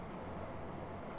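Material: Nothing is struck.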